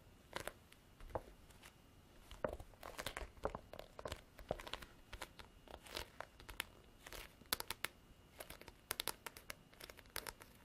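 A black, grained faux leather–covered folder, a large flat leather-look hard-cover diary held in both hands, is tapped and scratched with long artificial nails. Quiet, sharp, bright clicking taps are scattered among soft, scratchy rasps across the textured cover. Each tap dies away almost instantly.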